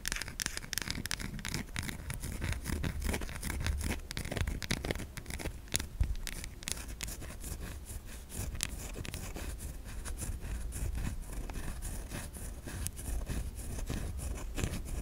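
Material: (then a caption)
Soap. A white solid bar of soap is held in the hands and scratched with long almond-shaped nails, leaving grooves in its surface. Fine, dense scraping continues throughout, with many short crackly strokes over a low rumble and faint bright hiss.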